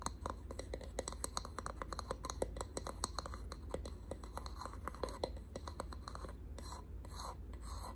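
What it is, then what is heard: Painted wooden box. Short pink nails tap and scratch a small hexagonal box of ridged wood, painted in distressed white and held in the hands. Quick, dry ticks with almost no ring fall in rapid runs over a low steady hum, then give way to softer, airy scratching toward the end.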